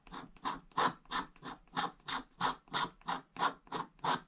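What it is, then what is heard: Scratch-art paper being scratched. A wooden stick scratches vertical strokes across a flat, wax-coated scratch-art paper page with a black coating over blue foil. Thirteen short, dry scraping strokes repeat at a steady pace, each a soft rasp centered around 1 kHz with a brighter hiss on top.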